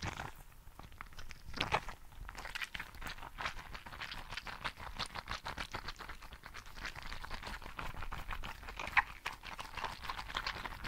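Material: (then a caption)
Rubber, gel. A green translucent rubber frog toy filled with gel beads is squeezed and scratched with fingertips. It gives a steady stream of quiet, wet crackling and squishing ticks, concentrated in the mid-to-bright range around 1–2 kHz, with a couple of sharper pops near 2 and 9 seconds.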